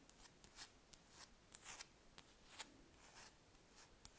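Long red nails scratch across a large, solid, spherical wax candle, making quiet, bright, dry scraping strokes. Eight sharp ticks stand out among the scratching, each cutting off almost at once over a faint hiss.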